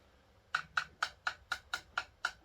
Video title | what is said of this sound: Boiler Leaking! HVAC series Ep.4 | can tap it and you can see whether it's full or not of water